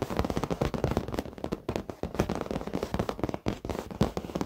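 Fingertips and short nails tap and scratch the surface of a black padded leather office chair. The result is a fast, dense stream of dull, crackly taps and scrapes, weighted toward the low and mid range with little high end, each one dying away almost at once.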